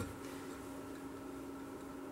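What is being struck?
Nothing is struck.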